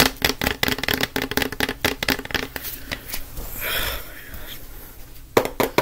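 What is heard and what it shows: A plastic disinfectant wipes canister, held horizontally, is tapped fast with the fingertips of both hands, producing a quick run of sharp, hollow, bright clicks. The tapping thins out in the middle into a softer, airy hiss that swells and fades. A few more crisp taps come at the end.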